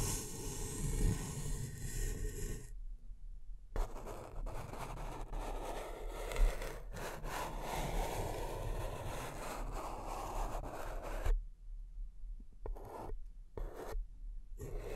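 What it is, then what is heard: Empty paper cup. Fingertips and long nails of one hand tap and scratch the base of an empty, hollow, upside-down beige paper cup held in the other hand. The result is a dense, rasping scratch with occasional soft taps, broken by short silent gaps.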